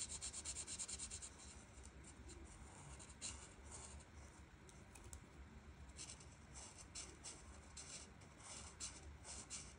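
A felt marker tip rubs back and forth across a flat paper coloring page, filling in the background. Soft, bright, scratchy strokes come in quick irregular bursts over a faint steady low hum, louder at the start and then settling into a quieter rhythmic rubbing.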